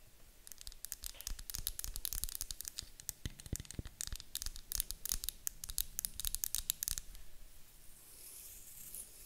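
Long acrylic nails tap and scratch the sides of a medium white glass candle jar, apparently wax-filled, with a gold metal lid, standing on a table. Rapid, dry, bright clicks and scrapes come in quick bursts for about seven seconds. They then give way to a soft, high hiss.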